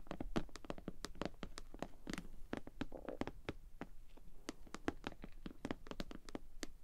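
Long nails tap and scratch the sides and front of a hollow pink glossy PVC cosmetic bag with a bow, held in the hands. A quick, steady run of short, dry, crisp clicks with a faint plasticky hollow body, quiet throughout, with brief scratchy rustles between the taps.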